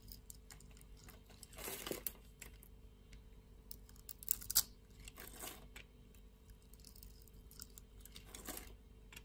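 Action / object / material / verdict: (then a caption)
scrape / bar of soap scraped with a metal blade / soap / none. A metal utility-knife blade scrapes flakes and curls off a solid purple bar of soap held in the palm. Soft, dry, bright scraping strokes rise and fade over a faint steady hum, with a few sharper crunchy clicks in the middle.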